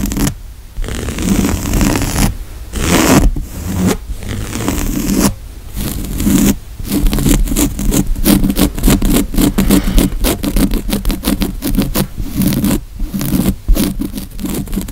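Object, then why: Woven fabric couch cushion. Fingernails scratch and rub across the textured weave of a grey woven fabric couch cushion with a padded seat. The result is a steady run of rough, dry scraping strokes with a low, muffled body and only a little high grit. The strokes are broken by brief quiet gaps and quicken into rapid, busy scratching toward the end.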